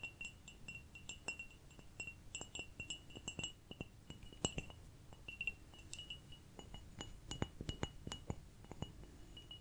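A small ceramic cup is tapped over and over in quick, light taps. Each tap gives a bright, chime-like clink with a high ring near 3 kHz that dies away almost at once, over a low, soft rumble. The taps come in uneven runs, with some louder taps standing out.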